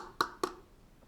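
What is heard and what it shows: A cup with something placed inside it, such as tissues or a napkin, is tapped twice. Each tap is a short, muffled knock with a brief bright edge that dies away almost at once. The filled cup sounds different from the empty one.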